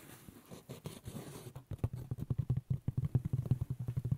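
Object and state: Woven straw hat scratched.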